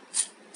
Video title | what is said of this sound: Kurkuri bhindi fry without corn flour / Bhindi fry / Kurkuri bhindi #bhindirecipe #ladyfingerrecipe | इसमें से कितनी कुरकुरी आवाज़ आ रही है